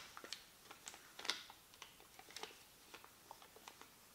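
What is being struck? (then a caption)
Thin paper receipt. A small, thin white paper receipt or label is held in both hands over a black desk as fingertips crinkle, fold and rub the flat sheet. Soft, bright crackles and sharp ticks come in an irregular series over a faint hiss, each snapping off quickly with almost no low end.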